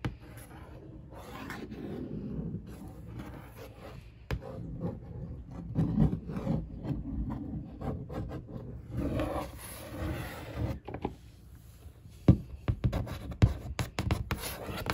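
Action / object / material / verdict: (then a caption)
scrape / printed cardboard box / cardboard / none. One fingertip with a long nail traces over the printed monitor picture and the 24" label on a large, hollow, black printed cardboard box for an ASUS 24-inch monitor. It makes a soft, low, hollow rubbing and scraping that swells and fades in slow strokes. A few sharper nail clicks stand out near the end.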